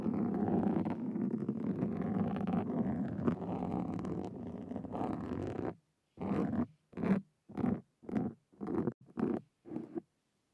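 Two carving tools with metal tips and wooden handles scratch a black foam windscreen on a Zoom recorder. The result is close, muffled, low-heavy scraping that runs continuously for about six seconds, then breaks into seven separate rasping strokes.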